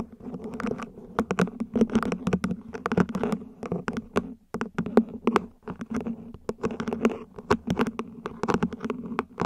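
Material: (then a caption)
Plastic. Long nails rapidly tap the ribs and base of a small, hollow, mint-green ribbed plant pot, probably plastic, placed upside down. The result is a dense, uneven patter of short, dry clicks with bright edges over a hollow body tone around 230 Hz. Each tap dies away almost instantly.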